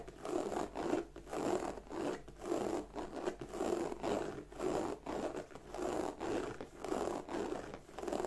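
Long nails scratch the lower front panel of a hollow black glossy croc-embossed leather bag. The result is a steady run of soft, raspy scratching strokes with a papery texture, each swelling and fading in turn. Most of the sound sits in the low-mid range, with little deep bass or bright hiss.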